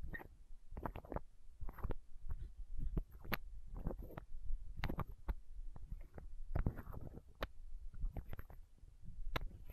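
Long nails scratch and tap a small, clear, hollow plastic eye drop bottle held against the microphone. The result is a quick, irregular run of close, muffled taps and scraping, heavy in low thuds with brief bright clicks and very little ring.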